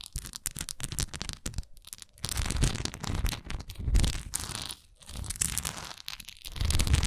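Long nails scratch and tap across a textured wax candle, making dense crackly scratching broken up by quick taps. The sound comes in bursts with brief pauses between them, mixing a low, thuddy body with bright, papery scraping.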